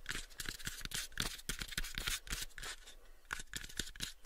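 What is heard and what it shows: Fingernails scratch and tap on the faces of a pale, unfinished, hollow wooden cube box held close to the microphones. Quick, irregular dry taps mix with bright, raspy scratching strokes, each dying away almost at once. The result is a soft, busy texture of close-up clicks and scrapes.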